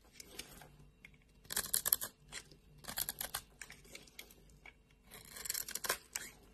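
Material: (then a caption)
Soap. A solid white bar of soap with a carved grid pattern is scraped and cut with a metal blade, and crumbs break off. Bursts of crisp, bright scraping and crunching repeat in clusters through the clip, separated by near-quiet pauses.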